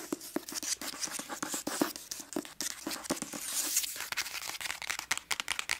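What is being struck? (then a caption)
Hardcover book with paper dust jacket. Long acrylic nails tap and scratch the cover and edges of a medium-sized hardcover book, *Girl in Pieces*, with a cream paper dust jacket, held solid in one hand. Rapid, crisp clicks mix with dry, papery scratching and crinkling, bright and high-pitched with almost no low end. Each tap dies away almost instantly.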